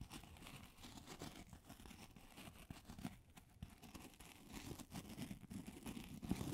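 A solid, hand-sized white polystyrene foam ball is held in both hands and scratched with long acrylic nails. The result is a quiet, continuous, dense scratching and crinkling with a squeaky, tearing texture, mostly low-pitched, that grows slightly louder toward the end.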